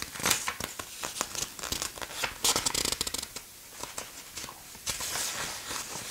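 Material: Paper.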